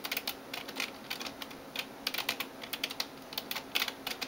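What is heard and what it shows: Fingertips and nails type on the keys of a backlit plastic gaming keyboard. The result is a quick, irregular run of bright, clicky taps that die away almost at once. The taps are centered around 2.6 kHz over a low, steady background.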